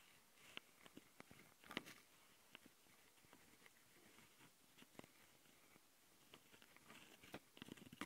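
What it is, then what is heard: Plastic handheld recorder scratched with fingernails. Long fingernails on both hands scratch the metal-mesh mic capsules of a small plastic Tascam handheld audio recorder. Quiet, bright, crackly scratches are heard, with sharp clicks and brief bursts over a soft steady hiss. The scratching grows busier toward the end.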